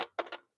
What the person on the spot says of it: when I tap on it, you can hear. You've got that nice crunchiness of a crouton.